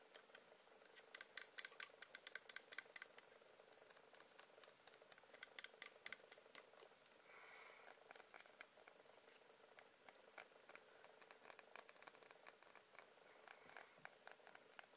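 Fingertips and nails tap on the side of a medium blue wax pillar candle, solid wax with a melted top edge. Quick, quiet, dry clicking taps come in bursts, sharp and bright, with no low end and no ring after each tap. A brief soft rustle rises briefly midway.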